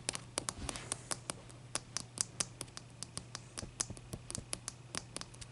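Long dark nail tips tap the top of a large, clear, solid ice block resting on a towel, then both hands scratch it. A quick, irregular string of sharp, bright clicks rings out over a soft scratchy hiss and a faint steady low hum, with each tap dying away almost at once.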